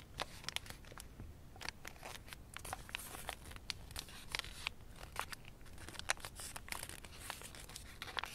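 Fingertips fold and pinch a thin blue origami paper crane in progress, a narrow folded form of small layered paper. The result is a steady run of quiet, dry crinkles with frequent sharp, bright snaps and crackles that stop instantly, over a soft low rustle.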